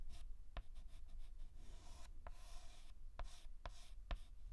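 A white chalk stick rubs and scratches across a large flat blackboard while filling in a letter. Soft, breathy scraping strokes come in bursts, broken by several sharp, brief clicks of the chalk tapping the board, over a low, quiet background rumble.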